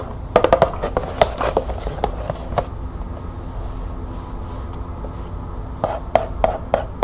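Long fingernails tap and scratch the barcode side of a small, closed green cardboard tea box held in the hands. Quick dry taps come in a cluster at the start, give way to a soft, steady scratching, then return in a burst near the end. Each tap is short, hollow and mid-pitched, dying away almost at once.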